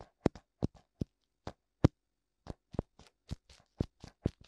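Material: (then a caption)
Silicone. Fingertips tap and rub both hollow white silicone ears, complete with ear canals, on a black binaural microphone. The result is a quick, irregular series of short, dull, low thumps that stop dead, with faint rubbing scuffs in between.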